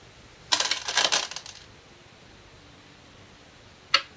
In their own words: Shinkaya Go Board sound test